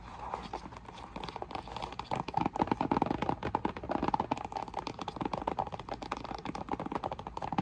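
A hollow, flat printed cardboard box for an Intex inflatable lounge, stood upright on a table, is tapped and rubbed with long nails and fingertips. A soft scratchy rubbing gives way after about two seconds to a rapid, uneven stream of crisp, dry taps with a hollow papery tone around 800 Hz. Each tap dies almost instantly, continuing steadily to the end.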